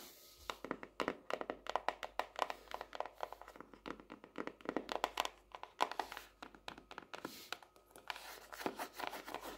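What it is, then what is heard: Hardcover notebook tapped with nails. Long nails rapidly tap and scratch the cover of a closed purple marbled, paper-covered hardcover notebook lying flat on a desk, and the notebook sounds solid. Dozens of quiet, dry, crisp clicks land in quick irregular bursts, mixed with soft scratchy rasps. Each tap is mid-toned around 1 kHz with almost no low end and dies away instantly.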